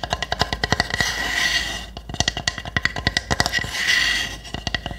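Long nails tap and scratch the roof of a small, hollow pine wood hamster house with round holes. Quick, dry, bright taps come in rapid runs, broken by two stretches of steady, hissy scratching before the tapping resumes.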